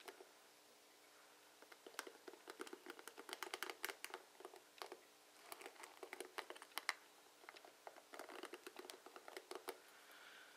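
Fingertips flick and scratch across the plastic bristle tips of a blue plastic paddle hairbrush. The result is a quiet, dense run of dry, bright clicks and crackly ticks in irregular bursts, each snapping off instantly with no low-end body.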